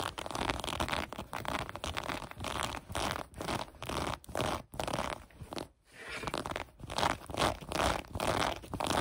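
Long acrylic nails scratch along the ribs of the elastic waistband on light gray cotton sweatpants lying on a table. The result is a run of dry, rasping strokes at an uneven pace of roughly two per second, with brief quiet gaps between them. Each stroke is a bright, broadband scratchy hiss that dies away almost instantly.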